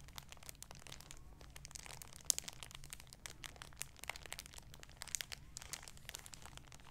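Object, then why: Shower curtain in clear plastic wrap. An olive-green folded shower curtain in its clear plastic packaging, back side up, is held in both hands and crinkled with the fingertips and nails. The result is a quiet, steady stream of bright, crisp plastic crackles with dense, sharp ticks that die away instantly, over a faint low hum.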